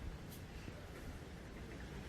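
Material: Nothing is struck.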